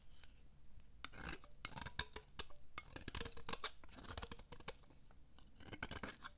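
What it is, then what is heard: Dry soap bar being cut. A metal blade cuts and scrapes thin slices from a dry, solid, embossed purple oval bar of soap about the size of a palm. Crisp, brittle crackles and sharp clicks come in quick bursts with a bright, rasping edge, over a steady low hum.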